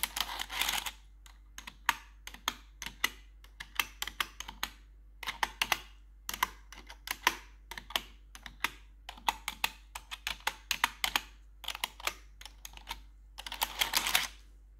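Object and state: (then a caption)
Plastic computer keyboard tapped with metal nails. Metal claw nails worn over blue gloves tap the keycaps of a black plastic RGB computer keyboard, producing quick, bright, dry clicks in uneven bursts separated by short silences. Denser scratchy clatter opens and closes the clip.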